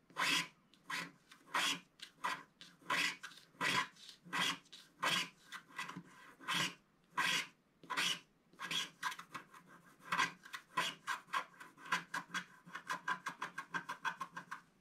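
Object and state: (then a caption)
Scratch-art paper being scraped. A pointed wooden stick scrapes the coating off a flat, thin scratch-art paper page in short strokes. It makes a series of dry, bright raspy scratches in an uneven rhythm, slower and louder at first, then quicker and lighter toward the end. A steady tone near 1 kHz sits under the strokes.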